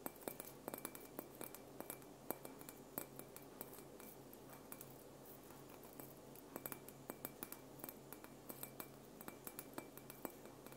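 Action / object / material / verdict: tap / glass ball ornament / glass / none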